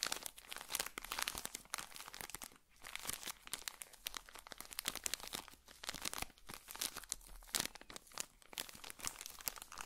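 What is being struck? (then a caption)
Pocket tissue pack in thin plastic wrapper. A small, colorful pocket tissue packet in a thin plastic wrapper is held close to the microphone and squeezed and crinkled with the fingertips. It makes a dense, continuous run of bright, crackling plastic crinkles with quick, crisp snaps and very little low end.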